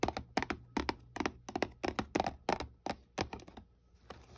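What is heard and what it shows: Fingertips and long nails tap and scratch across the face of a small, hollow white paperboard box held flat in a hand. Quick, uneven clusters of dry, hollow clicks and taps stop dead with no ring, with faint scratchy rustling in the gaps.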